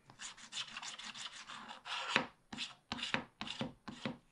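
A wooden stylus scratches the coating near the bottom of a black wax-coated scratch-art page in a spiral pad, held down by one hand. Dry, bright rasping strokes run close together at first, then break into separate scratches with short pauses between them.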